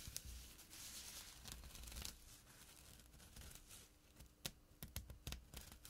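Fingertips and nails scratch the fabric of a small, flat burlap pouch with a drawstring. The result is a rough, dry rasping with bright, crackly bursts, followed by a run of sharp scratchy ticks near the end, over a faint low hum.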